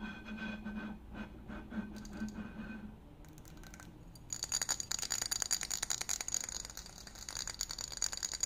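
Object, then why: Glass bottle. A tall, hollow, apparently empty green glass wine-style bottle is held in the hands and tapped and scratched with fingertips and nails. Soft, low-toned scratching comes first, then after a brief quieter stretch it turns into rapid, bright clicking and scraping with a high glassy ring.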